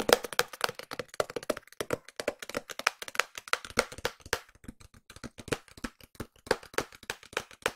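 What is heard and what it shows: A small, hollow white cardboard SKMEI watch box is tapped and scratched with long nails, making a rapid series of short, dry, clicky taps with a hollow midrange tone. The pace shifts between fast bursts and slower spaced hits, each tap dying away almost instantly.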